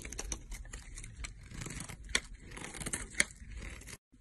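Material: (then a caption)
Soap. A utility knife blade scrapes and cuts thin, crumbly slices from a solid green olive soap bar, heard close up. The sound is a steady dry, crackly scraping with bright crunching detail, broken by two sharper, louder snaps near the middle and later. It stops abruptly just before the end.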